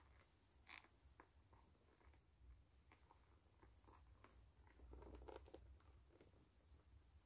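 Long nails scratch and tap the brown patterned rubber outsole of a white canvas low-top sneaker. Quiet, irregular scratchy ticks and soft taps sound over a low rumbling background, with a denser cluster of sharper clicks near the middle.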